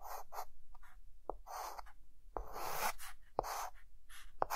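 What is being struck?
Chalk stick on a chalkboard.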